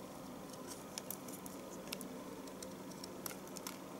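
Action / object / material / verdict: scrape / bar of household soap scraped with a knife / soap / none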